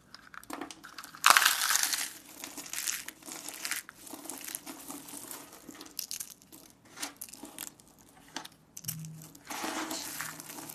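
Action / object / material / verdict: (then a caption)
scrape / pile of soap shavings / soap / none. Fingertips with long painted nails crush, grab, squeeze and rub through a flat pile of dry, solid, multicolored soap shavings and chips (blue, green, yellow and pink) on a wooden surface, beside a small dish of soap curls. The result is dry, bright crinkling and crunching that comes in bursts, loudest in a dense rustle just after the first second and again near the end.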